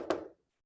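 A single tap on a physical whiteboard, showing that the board is real and not a screen. It makes a short, dull knock centered in the low-mid range around 350 Hz, and it fades within about a third of a second.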